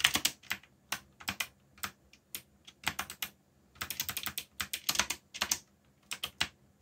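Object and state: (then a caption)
Mechanical keyboard being typed on. Fingertips type rapidly on the plastic keycaps of a black mechanical keyboard with a yellow backlight. Bursts of bright, sharp clicks and clacks come in quick runs with short pauses between them, each keystroke dying away almost instantly.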